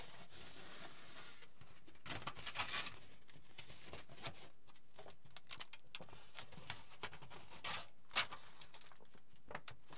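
A crinkled aluminium foil sheet, held in the air by both hands, is flexed, crumpled and stretched. It gives quiet, bright crinkling and crackling in irregular bursts over a soft steady background hiss, with a sharper crackle near the end.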